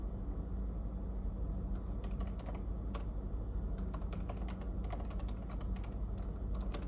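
Fingertips tap the low-profile plastic keys of a silver laptop resting on a café table, making quick, bright, irregular clicks in short bursts. A steady low hum sits underneath throughout.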